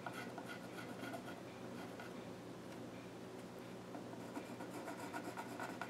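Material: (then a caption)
Wood. A pencil scratches lines near the far edge of the flat top of a small wooden child's stool. Soft, steady scratching and rubbing strokes run throughout, with bright, brief scrapes over a faint low hum.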